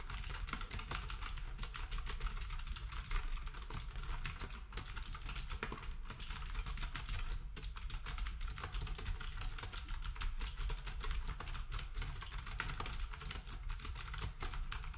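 Fingertips of both hands type rapidly on a black wireless typewriter-style plastic retro keyboard with round plastic keycaps and a hollow housing. The result is a steady, dense stream of short, sharp key clicks over a constant low rumble, with no pauses across the clip.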